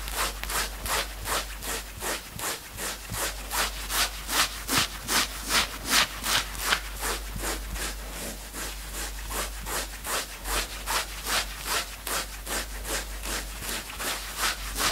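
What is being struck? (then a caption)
Knit fabric sweatshirt. Fingertips of both hands scratch the upper chest of a worn knit sweatshirt in fast, steady strokes of about two and a half per second. Each stroke is a bright, hissy rasp of fabric, and the strokes run one after another for the whole clip with little low end.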